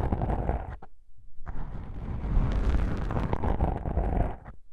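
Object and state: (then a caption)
Foam microphone windscreen being scratched. Long pink nails pinch and scratch black foam microphone windscreens, producing a dense, muffled rumbling crackle with heavy low-end thump and soft bright fizz. The scratching pauses briefly near the one-second mark, then resumes and grows louder and busier before easing off at the end.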